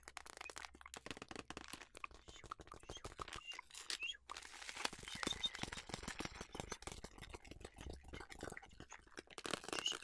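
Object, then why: Plastic tub of flax seeds. A small clear plastic clamshell tub full of flax seeds, with a paper label, is held in one hand and tapped and scratched with long nails, and may be lightly shaken so the seeds move. The result is a dense, continuous stream of quick, dry, bright clicks and crinkly scratches with almost no ring and very little low end.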